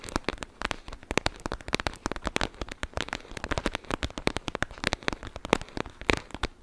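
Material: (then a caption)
Plastic. A clear plastic gel bead bag, a pouch filled with blue beads, is pressed and scratched with long nails just above the microphone. The result is a dense run of quick, dry crackles and clicks, with short bright snaps standing out over a steady crinkly rustle.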